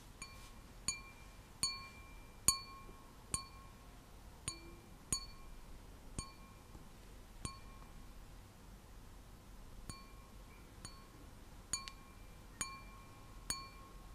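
An empty, clear, hollow stemmed wine glass with a white design is tapped with long nails, giving fourteen separate bright, glassy clinks at uneven intervals. Each tap rings briefly with a high, chime-like tone over a quiet background hiss.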